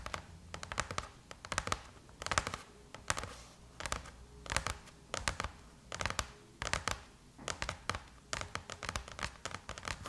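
Long chrome-painted nails scratch and tap across the closed silver aluminum MacBook lid, with the hands crossed over it. Quick bursts of bright, dry clicks and scratchy rasps come in clusters, with a faint steady tone beneath. Each tap dies away almost instantly.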